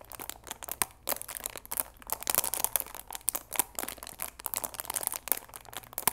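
Fingers squeeze and crinkle the clear plastic film around the sides of a cardboard chamomile tea box. Dense, bright crackling comes in rapid overlapping bursts with almost no low end.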